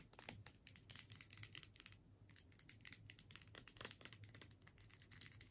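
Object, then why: Plastic tube with metal screw cap. Long nails tap and scratch the labeled body of a filled plastic tube with a metal screw cap, held upright. Quick, dry, bright clicks and scraping rustles come in a steady, irregular stream at low volume, each tap dying away at once over a faint low hum.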